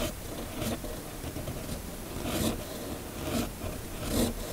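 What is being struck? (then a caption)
Sheet of paper under a metal pen nib. A red fountain pen with a metal nib, held in the fingers, writes cursive words on a flat, thin sheet of white paper. Quiet, scratchy rasping strokes swell in and out over a steady low hiss, with brighter scratches where the nib drags harder across the paper.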